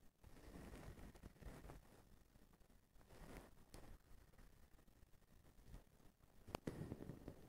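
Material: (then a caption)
Plastic. A blue plastic-strand feather duster with a white plastic handle is held by the handle while fingers scratch and brush its bundle of strands. Quiet, low-heavy rustling and scratching swells and fades, with a sharp bright crackle near the end.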